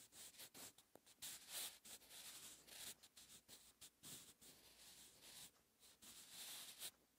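A sharpened wooden pencil's graphite tip writes Korean characters on a lined paper notebook page lying flat and solid on a surface. Quiet, bright, papery scratching and rubbing strokes come in short bursts with brief pauses between them, with almost no low end.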